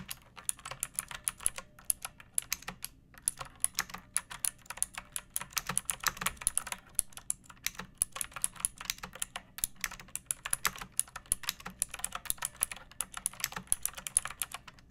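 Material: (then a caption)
Plastic. Long painted nails and fingertips type steadily on a pink plastic mechanical keyboard with round backlit keycaps and a hollow body resting on a wooden surface. The result is a quick, continuous stream of bright, crisp plastic clicks and clacks that die away almost instantly, with little low-end weight.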